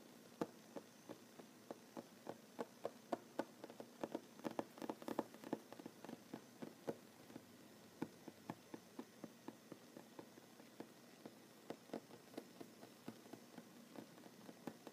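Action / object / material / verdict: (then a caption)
tap / wooden tabletop / wood / none. Short fingernails tap on a large, solid wooden tabletop with the hands overlapping, making about 26 quick, dry taps at an uneven pace that cluster most densely in the middle. Each tap is a quiet, mid-pitched click that dies away almost instantly with no ring, over a faint steady hiss.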